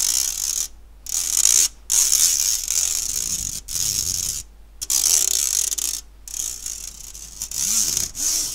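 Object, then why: Stainless steel wire-mesh sieve. Fingertips and nails scratch across the fine mesh of a round, medium-size stainless steel wire-mesh kitchen strainer, hollow and empty, held up by its handle in one hand. The result is a bright, hissy, raspy scraping in uneven bursts broken by short silences, with almost no low end.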